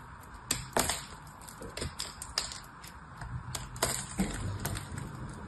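A knife slices and scrapes brittle pieces off a partly cut, blue-painted soap bar. Sharp, crisp cracks and crunchy scraping strokes ring out brightly over a low, steady background rumble.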